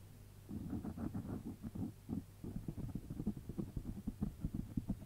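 Fingertips with short nails rub and scratch the surface of a round, black, hollow, soft foam windscreen over a microphone, using both hands. The sound is a series of muffled, thumping, scratchy rustles, heavy in the low end with almost no high content. The strokes come in quick, uneven bursts over a steady low hum.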